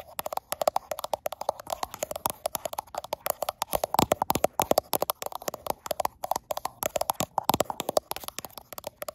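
Long black-tipped nails rapidly tap and scratch the frosted glass back of a handheld gold iPhone, seen in a mirror, while the phone itself records. The result is a dense run of sharp, quickly-decaying clicks centered around 800 Hz, with brief scratchy bright textures between them and almost no low end.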